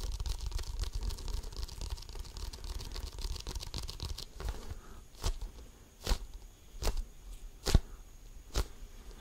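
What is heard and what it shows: Fingertips and nails scratch a full-size, hollow, inflated Wilson basketball with a pebbled composite leather surface, held close to the mic, making a dense, low, rustling scrape for about four seconds. Then five separate, dull, hollow taps follow, each short and fading almost at once.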